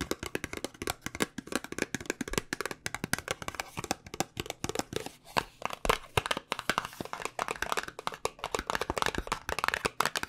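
Long nails rapidly tap the sides and corners of a small white paperboard cosmetic box, hollow with contents inside. The result is a dense stream of short, dry, crisp clicks with almost no ring, some taps sharper and brighter than others.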